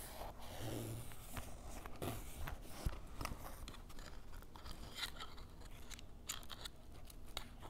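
A ballpoint pen is scratched and dragged across the surface of a grey canvas fanny pack held on a table. It makes a quiet, dry, crunchy scraping with quick scratchy strokes and brief bright ticks over a low, steady rumble.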